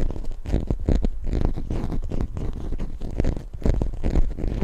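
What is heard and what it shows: Long fingernails scratch and tap a small solid plastic toy zebra figurine held right at the mic. The result is a dense run of close, muffled scratching and quick tapping bursts, heavy in the low end with almost no brightness and very short decays.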